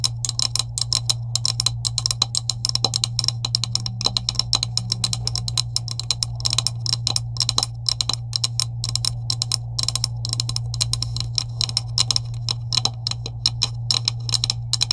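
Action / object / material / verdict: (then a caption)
tap / plastic PVC pipe / plastic / none. Long acrylic nails tap quickly and steadily along the top of a green hollow PVC plastic pipe with end couplings, about 30 cm long, lying on a table. Each tap is a short, bright click that dies away almost at once, and a steady low hum runs underneath throughout.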